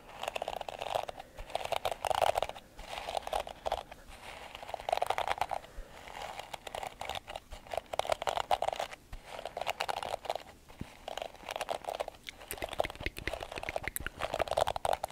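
A palm-sized purple and pink plastic detangling hairbrush with plastic bristles, held in one hand, as fingertips scratch and brush across the bristles close to the microphone. Dense, dry crunchy scratching comes in repeated bursts, centered in the midrange around 650 Hz with faint bright edges. Each stroke stops dead with no ring.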